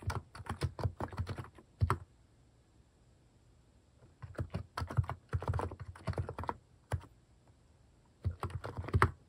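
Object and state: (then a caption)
Plastic mechanical keyboard being typed on. Fingertips type on a white-case plastic mechanical keyboard fitted with pastel plastic cat-shaped keycaps, producing quick bursts of short, dull clacks with a low thump beneath each stroke. The typing comes in clusters separated by quiet pauses, with a few heavier single presses standing out.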